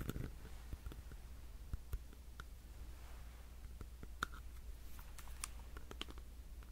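A solid black plastic power bank is tapped on its edges and faces with fingernails, producing short, dry clicks with a bright tone around 1.4 kHz. The clicks sit over a steady low hum.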